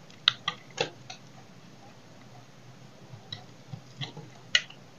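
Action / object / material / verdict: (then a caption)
scrape / bar of soap / soap / none. A solid oval dry soap bar, held in hand, is cut and scraped with a small knife, chips breaking off. Several short, dry, bright crunching snaps come in two clusters separated by a quiet pause, each dying away almost instantly over a faint low hum.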